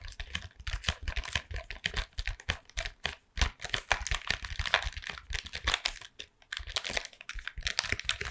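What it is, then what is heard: Cardboard chocolate box. A closed Toffifee cardboard box full of chocolates, apparently still in its plastic wrap, is held in both hands and tapped with long painted nails. The result is a rapid, dense stream of dry, crisp clicks and taps with short pauses, each bright with a soft low thump and almost no ring.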